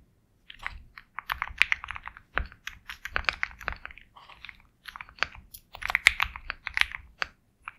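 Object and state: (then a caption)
Mechanical keyboard being typed on. Fingertips type steadily on a compact 65% Sugar65 mechanical keyboard with KTT Kang White switches, a black case, and white and black plastic keycaps. Quick, bright, clacky keystrokes come in dense bursts separated by short pauses. Each press is crisp and dry with almost no ring after it.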